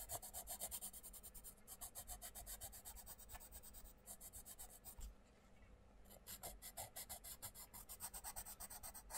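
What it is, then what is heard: Coloured pencil on a paper colouring book page. A wooden coloured pencil scratches and rubs rapidly over the paper page of an open paperback colouring book lying flat, using the same pencil throughout while the other hand rests on the right page. The result is a steady run of quick, dry, raspy strokes with a bright hiss on top. The strokes ease into a softer, quieter patch around the middle before picking back up.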